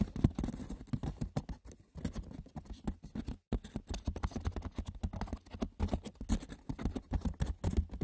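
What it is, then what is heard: Wicker basket, scratched and tapped. Fingers roughly scratch and tap the textured, woven surface of a wicker basket. A dense, irregular patter of light, dry clicks and scratches follows, weighted toward the low end, with a brief pause in the middle.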